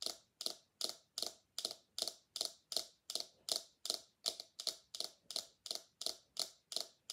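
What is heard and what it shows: Long nails tap and flick the bristles and body of a small pink silicone scalp massager held in both hands. The result is a steady, fairly even run of quick, crisp, bright ticks that fade almost instantly, with almost no low end.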